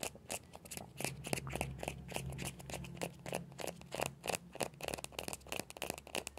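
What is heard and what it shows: Fingertips and nails scratch and tap the shell of a small hollow orange plastic ball with a yellow stripe. Quick, irregular dry taps and clicks mix with scratchy scraping, each sound dying away almost instantly, over a faint steady low hum.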